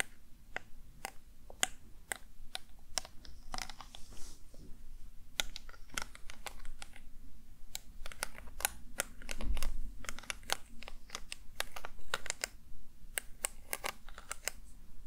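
A small square panel covered in multicolored plastic heart rhinestones is held in one hand and tapped rapidly on the gems with the tip of a glittery mermaid pen. The result is an irregular run of sharp, bright, clicky taps that sound like typing over a steady low hum.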